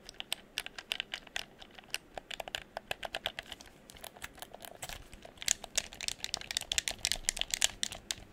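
A handheld, hollow red plastic gamepad is held in both hands while fingertips and nails tap its shell and click its buttons. About 39 quick, bright, dry clicks and taps land in an irregular rhythm with almost no ring. They are soft at first and grow louder and denser in the last few seconds.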